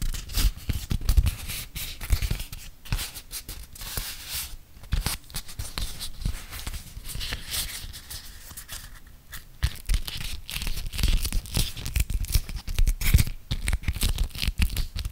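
A yellow printed beeswax-coated cotton food wrap, folded into a triangle and held in both hands, is creased, crinkled and rubbed by fingertips and painted nails. Dense, sticky, scratchy crinkling and crackling runs throughout, with bright, crisp edges over a deep low rumble and a few brief quieter lulls.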